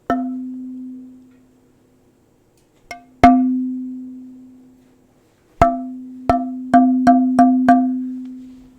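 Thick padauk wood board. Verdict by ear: Resonant.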